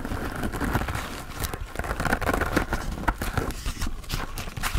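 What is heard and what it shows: Fingertips and nails scratch and tap a hand-sized grey porous foam sponge with a foam handle, soft and not hollow, held up close. The sound is a dense, continuous stream of soft, muffled scratches with dull taps, heavy in the low end and quick to fade.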